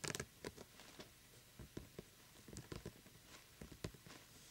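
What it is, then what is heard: Glitter-coated plastic pumpkin lamp. A small hollow glittery plastic jack-o'-lantern lamp is held between both hands while fingertips and nails quickly tap and scratch its glitter-coated surface. The result is a quiet series of short, dry clicks and scrapes with bright, crackly texture and a faint low thump under each touch.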